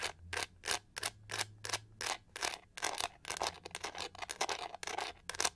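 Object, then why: Textured plastic hair brush back. Long nails scratch the pink-gold, pyramid-textured back of a hollow plastic hair brush in a rapid series of short strokes. Each stroke makes a dry, bright, hissing rasp with almost no ring, separated by brief pauses over a faint low hum.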